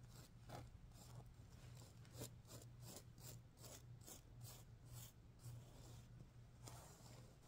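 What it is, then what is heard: Sequin pillow. Fingers and nails stroke and scratch the pink sequins on a stuffed sequin pillow, making a run of quiet, bright, raspy swishes. A steady low hum runs underneath the whole clip.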